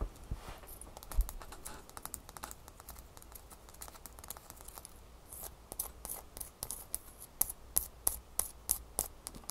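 Long manicured fingernails tap and scratch a single small, solid, clear ice cube held in one hand over a towel. Soft, irregular scratching and light clicks give way to a faster run of crisp, sharp, evenly spaced taps in the final few seconds.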